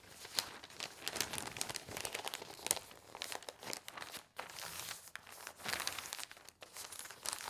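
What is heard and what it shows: An open newsprint newspaper lies spread on a table while both hands, with long painted nails, rub and smooth its thin pages. The result is a continuous bright rustling and scratching with crinkly, papery texture and little low end. Brief sharp scrapes rise above the steady crinkle throughout.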